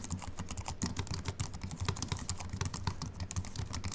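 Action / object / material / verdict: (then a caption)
tap / slim aluminium keyboard with plastic keys / plastic, aluminium / none. Both hands type continuously with the fingertips on a slim Apple Mac keyboard with an aluminium body and white plastic keys. The result is a fast, steady stream of short, dry key taps, each a bright click over a soft low thump that dies away almost at once.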